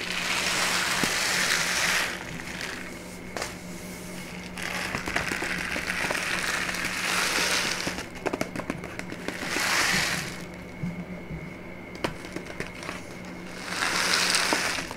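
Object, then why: Kraft paper bag. A brown kraft paper pouch, held upright, is crinkled and squeezed by long painted nails. Bursts of bright, crackling paper rustle swell and fade across the clip. They are broken by sharp clicks and a steady low hum underneath.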